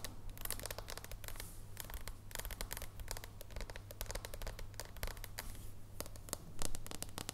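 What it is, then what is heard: Thin dark chocolate bar. Long nails tap and scratch a thin, flat, solid dark chocolate bar with a plain back as it stands on the table and is then lifted off it. Rapid, dry, bright clicks and scratchy scrapes come in quick bursts over a low, steady hum.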